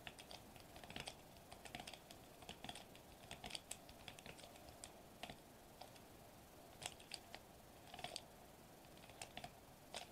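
Fingertips tap rapidly on a sheet of foil-laminated plastic bubble wrap lying flat on a table. The result is a quiet stream of short, dry, crinkly clicks with a bright, papery edge, arriving in uneven bursts over a steady low background hiss.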